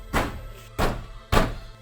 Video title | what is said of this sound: Dingding ng isang bahay sa Samar, nagluwa ng sandamakmak na barya?! - Kapuso Mo, Jessica Soho | At kapag kinalampag, parang may kumakalansing. Minsan kasi tumutunog, parang nalalaglag.